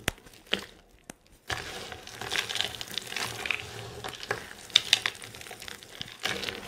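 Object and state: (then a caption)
Dry soap shavings being crushed. Bare hands and fingertips press, rub and crush a heap of dry green soap flakes against a table. A few sharp, isolated crackles open the clip, then a steady, dry crinkling crunch sets in, bright and high with almost no low end. Occasional louder crisp snaps stand out near the end.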